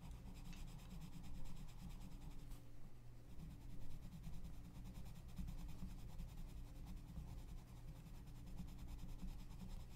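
A gloved hand shades a page of an open paper coloring book lying flat, rubbing and scratching the paper with a pink wooden colored pencil. The result is a quiet, continuous, low scratchy rubbing that rises and falls slightly with the strokes.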